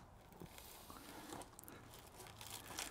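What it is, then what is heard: Rotten, rust-crumbling steel body panel. Scratching a rusted steel body panel on a Nissan Figaro produces a quiet, dry crunching and crumbling with bright, brittle crackles. The sound confirms the steel is rotten and friable.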